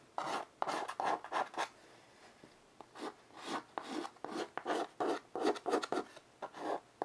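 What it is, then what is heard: Chalk on a wood-framed chalkboard. White chalk held in the fingers scratches and rubs across a flat wood-framed chalkboard lying on carpet while drawing and smudging. Short, irregular bursts of dry, raspy scraping centre in the mid-range with a bright edge, with a quiet pause about two seconds in before the strokes resume.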